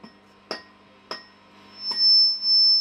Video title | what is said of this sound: Marshall JCM800 2203 Repair - Part 1: Oscillation, bad EL34's & more! | That one's properly ringing. We could probably get it to feed back.